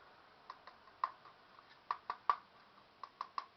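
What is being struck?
Diecast metal plates on a plastic toy figure.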